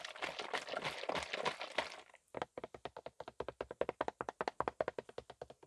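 A medium-size blue plastic trigger spray bottle of car wax with liquid inside is held in one green-gloved hand and tapped with gloved fingertips. For the first two seconds the tapping comes in a dense, rapid flurry, then after a short pause it continues as a quick run of distinct, dry, hollow plastic taps.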